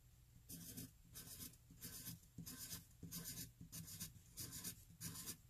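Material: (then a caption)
Paper. A hand-held graphite pencil writes more e's along the lower rows of a flat white paper sheet. Eight bursts of bright, dry scratching sound as the lead scrapes across the paper, with short quiet gaps between them.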